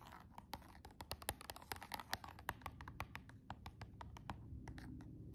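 Long jeweled nails tap the clear plastic window and the cardboard edge of a silver cardboard nail box held upright and tilted. A quick, uneven run of sharp, dry, bright clicks sounds, each dying away almost instantly over a faint low rumble.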